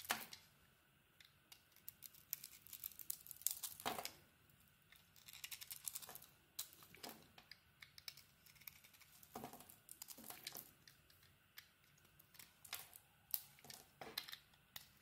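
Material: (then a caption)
Soap. A solid red-coated Cleopatra bar of soap with a cream interior is carved and shaved by hand with a metal utility-knife blade, letting chips fall away. The clip is quiet, made of crisp, bright scraping and shaving strokes in short dry bursts with soft crinkly ticks between them, with almost no low end.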